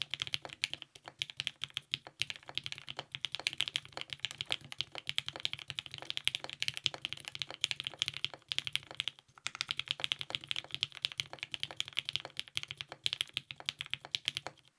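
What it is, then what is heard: Mechanical keyboard with ABS keycaps. A compact TGR 910 RE mechanical keyboard with lubed 55g Nixie switches, a polycarbonate plate and purple GMK ABS keycaps is typed on continuously with the fingertips of both hands. It makes a rapid, steady stream of short, crisp clacks that are bright and high, centered around 3.3 kHz with almost no low end. The typing pauses briefly near the middle before resuming.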